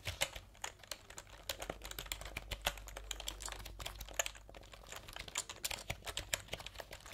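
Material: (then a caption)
Plastic. Fingertips type quickly on a full-size plastic computer keyboard with round plastic keycaps, held up in front of the face. A rapid, uneven stream of short, bright, clicky key taps with almost no ring sounds over a faint low hum.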